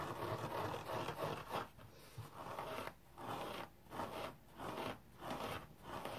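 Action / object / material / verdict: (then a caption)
scrape / synthetic fiber scouring pad / synthetic fiber / none. A hand-sized rectangular kitchen sponge with a red abrasive synthetic-fiber scouring side is held and scratched dry with fingernails. A steady, dense rasping scrape fills the first half, then breaks into separate scratching bursts with short quiet gaps between them. The sound is a soft, gritty midrange rubbing.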